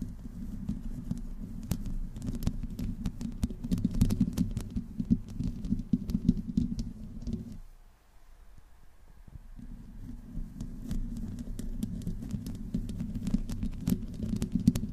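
Long nails of both hands slowly scratch the hollow metal mesh grille of a black microphone. The result is a dense, low, rumbling scrape scattered with sharp, bright ticks. It falls nearly silent for about two seconds in the middle, then resumes.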